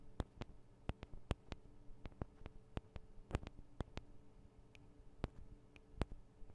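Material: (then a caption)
Metal. Long nails tap on the sides of the small metal microphone capsules of a Tascam DR-40 recorder, making about 20 short, sharp clicks at an irregular pace. Each tap is a dry, instant tick with no ring, set over a quiet, steady low hum.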